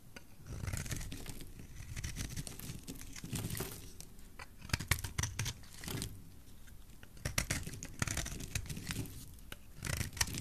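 A solid oval pink soap bar held in the hand is scraped and carved into flakes with a utility knife blade. Dry, crackling scrapes and cutting strokes come in uneven bursts with a low, soft body and short bright snaps that die away almost at once.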